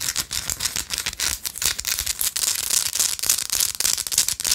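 A small, solid pinkish-orange Himalayan salt rock, held between fingers, is aggressively scratched with long light-blue acrylic nails. The result is a bright, crisp, gritty scratching made of rapid, irregular strokes with almost no low end and very short decay.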